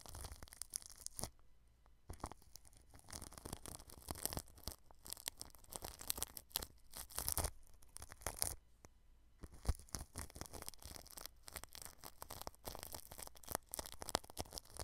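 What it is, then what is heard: Cling film over a microphone, brushed. A small red-handled paintbrush brushes over the plastic cling film wrapped around a microphone, making close, crinkly, tearing-like rustles and scratchy swishes. The strokes come in dense bursts separated by brief quiet gaps. They carry a low rumble underneath and a bright, crackling top.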